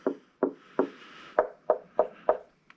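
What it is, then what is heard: Solid, well-braced speaker cabinet. Eight short, dull knocks on the cabinet of a Klipsch RF7 III floorstanding speaker, each dying out almost at once with a muted mid-pitched thud. The cabinet sounds solid and well braced rather than hollow, unlike the lighter 590s, because the RF7s are heavier, better built and better braced.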